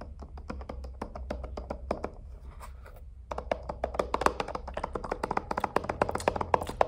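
Fingertips tap all over a hand-sized, hollow, lit dome-shaped plastic star projector night lamp with star-shaped cutouts, held in both hands. Quick, irregular hollow plastic taps sound over a low hum, pausing briefly near the middle before resuming more densely and a bit louder.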